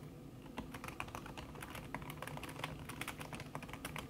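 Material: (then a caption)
Plastic, silicone. Fingertips with long red nails type fast on a backlit laptop keyboard in a silver aluminum body, its keys covered by a thin red silicone skin. A rapid, steady stream of about 28 soft, muted key taps is heard over a low, constant background hum, each tap short and dull.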